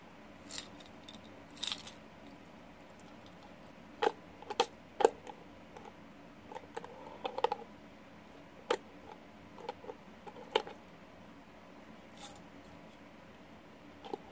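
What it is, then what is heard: Glass jar of pushpins. A small clear glass jar with a gold metal lid, full of plastic and metal pushpins, is held in both hands while fingertips tap it and it is tilted and turned so the pins rattle inside. Short, sharp glassy taps and clicky jangles of pins sound at irregular moments, some in quick clusters, with quiet gaps between. Each hit is bright and dies away almost instantly.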